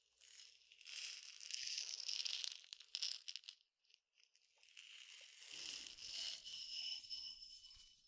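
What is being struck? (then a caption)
Glass tumbler with peppercorns. A clear glass tumbler partly filled with peppercorns is handled, tilted and tapped with fingernails, giving bright, dry rattling and clicking with almost no low end. The peppercorns shift and tick for about four seconds, fall nearly silent briefly, then a steadier rustling rattle returns and fades toward the end.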